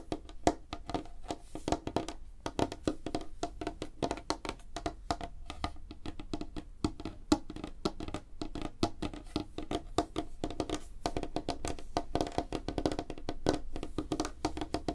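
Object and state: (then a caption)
Light wooden tabletop tapped with fingernails. Both hands rapidly tap fingernails on a flat, solid, light wooden tabletop. The result is a dense, continuous stream of short, crisp clicks with a woody midrange tone and almost no ring.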